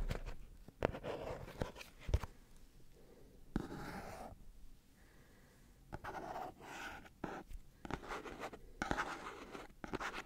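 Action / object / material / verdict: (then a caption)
scrape / small printed cardboard box / cardboard / none. Fingernails scratch along the surfaces of a small, hollow, red printed cardboard Sony product box held in one hand. The result is quiet, dry, rasping scrapes in uneven bursts, separated by soft pauses and a few light taps.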